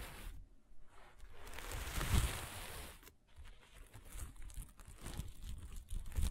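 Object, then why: Sequin fabric sheet. A flat sheet of sequin fabric is rubbed with the hand, pinched with the fingers and scratched with long nails. A soft, crinkly rustle swells into a bright, hissy scrape that peaks about two seconds in, then breaks into quieter scratchy, crunching bursts until the end.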